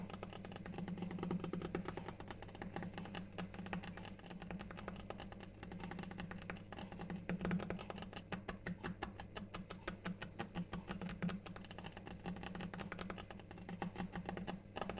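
A granite surface is tapped continuously in quick, dry clicks that die away almost instantly, with a ticking clock in the background. A steady low hum sits beneath the tapping throughout.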